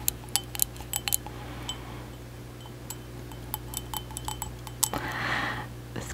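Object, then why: Ceramic mug. A white ceramic mug, hollow and apparently empty, is held close to the microphone and tapped on its outer wall with long acrylic nails. About 17 sharp, bright clicks land at an irregular pace, each dying away almost instantly. Near the end there is a brief soft brushing sound, all over a steady low hum.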